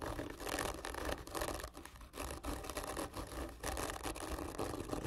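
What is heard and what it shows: Long nails of both hands scratch hard and slowly along the textured surface of a long, hollow, black printed cardboard gift tube lying on its side. The scratching is a continuous, grainy rasp with a hollow, papery body and a bright hiss, rising and falling in loudness with each stroke and never fully stopping.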